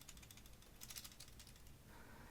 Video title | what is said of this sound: I love the RG Zeta Gundam and you should too - BUILD & REVIEW & TRANSFORM | there's some rattling in the legs, of course, because they are the heaviest part of the body